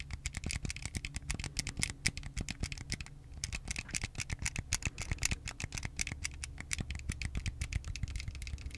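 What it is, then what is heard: Plastic Wii remote. Fingertips tap and scratch along the body of a white, hard plastic Wii game controller, a small, hollow handheld with electronics inside, held in both hands over the mic. A quick, steady run of short, dry, bright plastic clicks continues throughout, with a brief lull near the three-second mark. The clicks sit over a constant low hum.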